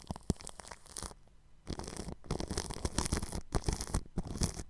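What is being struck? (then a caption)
Plastic cling film over a microphone. A bristle paintbrush brushes over clear cling film stretched across a round microphone grille. The result is close, crinkly, scratchy swishing strokes with a deep rumbling thump underneath. A quiet pause comes just after the first second, then the brushing returns denser and louder.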